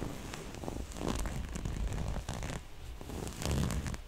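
Long nails scratch across a small, soft, hollow floral-print cloth pouch and run along its black zipper edge. The result is a continuous, dense, scratchy rustle with a heavy low-end thump and crackly, zipper-like bursts that swell and fade over the clip.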